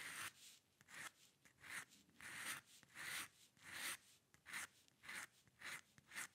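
A steel-nib dip pen with ink scratches dense hair lines across a flat sheet of white drawing paper on a dark table. Ten bright, dry scratching strokes come in an uneven rhythm, each a short rasp with a papery hiss that stretches into the high range and cuts off quickly between strokes.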